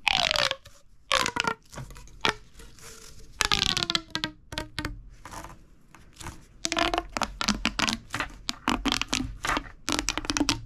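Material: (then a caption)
Plastic. A small, hollow, red-orange corrugated plastic pop tube is gripped in the fist and fingers and repeatedly compressed and stretched. It produces bursts of bright crackling pops and ratcheting clicks, some with short whistling tones that slide downward in pitch, separated by quieter pauses.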